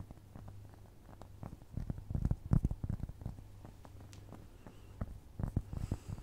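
A nail scratches across the surface of a round, flat, solid cork trivet, making soft, dull, irregular scrapes and taps. The sound is low and muffled with no ring, and the scrapes come in louder clusters over a faint steady low hum.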